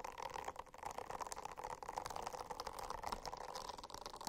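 Fingernails scratch a silicone-covered notebook in a steady, continuous rasp that holds a hollow midrange tone with fine, bright, crackly grain on top. The scratching stays quiet and even throughout, with small surges rather than distinct separate strokes.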